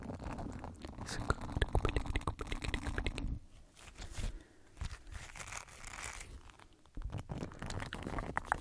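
A small, flat, oval green silicone scrub pad with bristles and a loop is held in the fingers close to the microphone and tapped, rubbed and bent with the fingertips. It makes dense, low, crunchy crackling and soft tapping. The sound turns quieter and softer through the middle before the louder crackling returns at the end.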